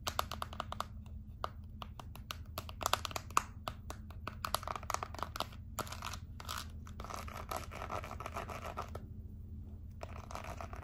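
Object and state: Plastic remote control, tapped and scratched.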